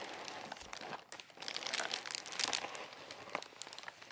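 Fingertips grip and press a large white-and-blue Amazon Prime padded plastic bubble mailer, flat and apparently unopened, lying on a lace tablecloth. The plastic gives a dense, bright crinkling with quick crackles throughout, briefly dipping near the one-second mark before building to its loudest stretch around two and a half seconds, then settling into softer crinkles.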